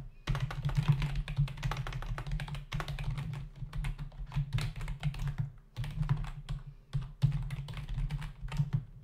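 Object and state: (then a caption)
Plastic computer keyboard. Both hands tap with fingertips on the plastic keys of a black plastic membrane computer keyboard with a hollow body, resting on a desk. The result is a rapid, continuous stream of short clicky keystrokes over a low, hollow thunk, with brief pauses in the typing near 2.7, 5.7 and 7 seconds.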